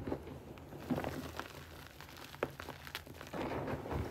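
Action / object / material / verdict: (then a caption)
scrape / powdered gym chalk with small lumps / chalk / none. A pile of grey powdered gym chalk (magnesium carbonate) with small lumps on a flat base is scooped, squeezed and crushed with both hands' fingertips, then rubbed between the palms. Soft, dry crunching and crinkling bursts rise over a quiet low rumble, with sharper crackles standing out at moments.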